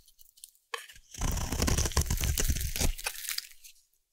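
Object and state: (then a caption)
Soap bar being shaved. A solid yellow hand-sized bar of Savannah collection soap, held in one hand, is repeatedly shaved with a small metal blade, peeling off thin curls that fall as shavings beneath. After a few faint scrapes, a dense run of crisp, crunchy cuts with a deep low body and bright edges builds, then fades to quiet.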